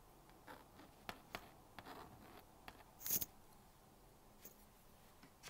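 A plastic magnetic stylus scratches lines across the screen of a small blue-and-pink plastic magnetic drawing board, drawing a bear and writing. Short, bright scratchy strokes and taps come through quietly, with the loudest, brightest scrape near the middle. Faint hiss fills the gaps between strokes.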